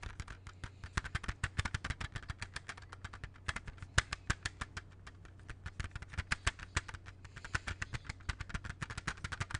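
Fingertips tap steadily on the cover of a closed, hollow plastic CD jewel case held in both hands. The result is a rapid stream of short, dry clicks with a bright edge and no ring, over a faint low hum.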